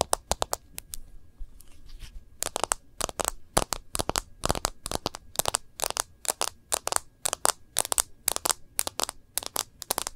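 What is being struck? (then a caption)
Smartphone glass screen and case. An iPhone in a case, held horizontally in both hands, is tapped rapidly by the nail tips of several fingers on its glass screen and case rim. Dozens of sharp, bright, dry clicks arrive in quick clusters, each dying almost instantly. A few scattered taps and a brief lull open the clip before a steady, rhythmic patter fills the rest.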